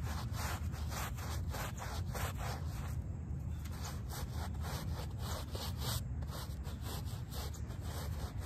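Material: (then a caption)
Fabric. A small shag-pile "HELLO" textile doormat, soaked and foamy, is scrubbed with a plastic hand brush. Quick back-and-forth strokes give a steady wet, bristly rasp over a heavy low rumble, with brief pauses near the middle and later in the clip.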